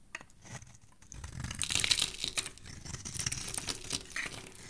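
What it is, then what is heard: Soap bar being shaved. A dark metal blade shaves the corner off a solid, embossed teal soap bar, producing a dense stream of crisp, bright scraping and crunching crackles. The crumbly shavings break away, and the sound grows louder midway before settling into steadier scraping.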